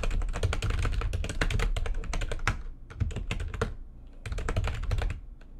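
Both hands type rapidly with long nails on a backlit plastic computer keyboard, producing dense bursts of sharp, bright keystroke clicks over a low thumping base. The typing pauses briefly near the three-second mark, continues in scattered taps, then resumes in a fast run before thinning out at the end.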